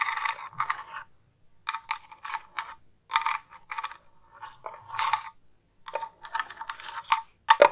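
A hollow, round metal tin with a gold lid, held close to the microphone, is tapped and scratched with long nails. Bursts of bright, clicky taps and gritty scratching come in quick clusters separated by short silences, with a faint metallic ring around 580 Hz that dies away almost at once.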